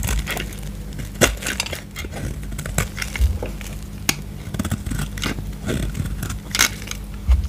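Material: Soap.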